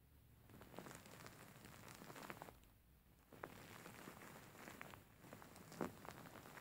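A soft stuffed cushion covered in grey faux fur lies flat while fingertips and nails scratch and massage its furry surface. The result is a quiet, steady rustling and crackling texture with brief sharper scratch accents scattered throughout.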